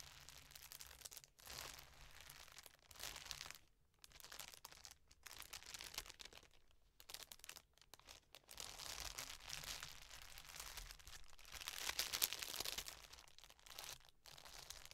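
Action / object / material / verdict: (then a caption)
scrape / thin plastic bag / plastic / none. An empty clear plastic bag is smoothed, pressed and folded on a table with fingertips and long nails, producing soft, bright crinkling and crackling in irregular bursts. Brief quiet gaps separate the bursts, and the sound is mostly high and crisp, with little low end.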